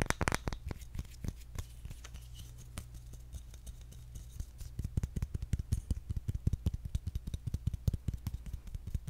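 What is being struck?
Round bamboo lid.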